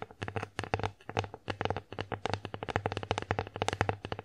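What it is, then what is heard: Wooden plate tapped with fingernails. Long acrylic nails tap rapidly across the flat face of an empty wooden bear-shaped plate. The result is a quick, uneven run of short, dry clicks with a low woody thump and mid-range knock, each dying away almost at once.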